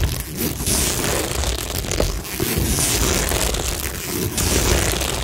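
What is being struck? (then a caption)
Cork board studded with plastic rhinestones. Long nails scratch and tap across a cork tingle board studded with plastic rhinestones, making a steady, dense crunchy scratching with bright, hissy texture over a low rumble. The sound stays at an even level throughout, with only brief dips between strokes.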